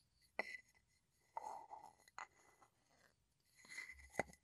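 A small, hollow, light-wood mortar, apparently empty and held in both hands, has a wooden pestle rubbed and ground inside the bowl and tapped across its rim. Three sharp, dry wooden taps with almost no ring alternate with soft scraping, grinding passes that carry a faint tone near 2 kHz and bright upper hiss.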